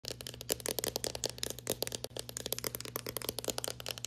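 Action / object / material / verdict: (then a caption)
tap / painted interior wall with trim molding / painted plaster / none. Fast tapping with long painted fingernails and fingertips on a flat, smooth, solid painted interior wall above a white molding strip. The sound is a dense stream of sharp, bright clicks with almost no ring, and a brief pause around two seconds in. A steady low hum runs underneath.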